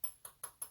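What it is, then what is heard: Engine cam plug seated fully in. Four light taps from a small hammer on a metal cam plug in a 2006 Dodge Charger 5.7 Hemi, struck through the square drive end of a ratchet extension fitted over the plug's square tip. Each tap is a short, sharp metallic tick with a high ping that dies away quickly. The plug is pressed fully in and properly seated.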